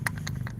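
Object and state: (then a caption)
Bamboo staff with loose contents inside. A bamboo staff kept as an heirloom is shaken, and unknown loose contents inside it give short, bright rattling clicks. A steady low hum runs underneath. The staff stays closed, so what is inside remains unknown.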